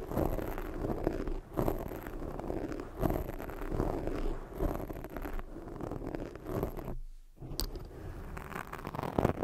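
Long nails scratch a black foam microphone windscreen, then hands cup it and rub it, producing dense, crackly scratching over a muffled low rumble. The sound comes in uneven rasping bursts, drops to near silence for a moment around the seven-second mark, and then the soft rubbing resumes.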